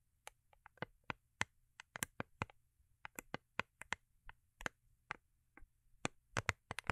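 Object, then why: Foil-covered cardboard gift box. Long acrylic nails tap and scratch a small, rigid, hollow cardboard gift box with a holographic foil-paper covering, held in the hands. About two dozen sharp, dry, bright clicks come at an uneven pace and stop almost instantly. Soft scratching and a faint low background hum fill the quiet gaps between them.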